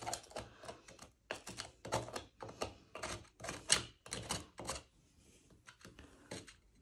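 The metal tip of a blue-handled screwdriver repeatedly scrapes and picks at the cement grout between small square glazed ceramic tiles on a solid surface, chipping it out to patch hollow tiles in a bathroom. A series of short, dry, bright scraping bursts follows, with gritty clicks of breaking grout and little ring. Debris is left on the tiles.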